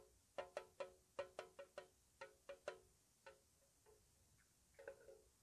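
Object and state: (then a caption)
Metal tea tin. Long nails tap a small, hollow, square white-painted metal tea tin with its lid on, giving about a dozen light, quick taps. Each tap gives a short, dry metallic ping around 590 Hz that fades almost at once. The taps grow softer and sparser toward the end, closing with a faint cluster of gentle clicks.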